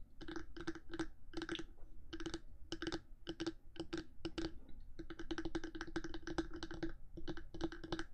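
Long manicured nails from both hands tap and scratch the top of the hard black plastic body of a 3Dio binaural microphone, a mid-size body held in place between two silicone ears. Quick, dry clicking taps come in rapid clusters with short pauses, each with a faint tone near 330 Hz and a brief bright edge over a low rumbling bed. The bursts die away almost instantly, with no ringing.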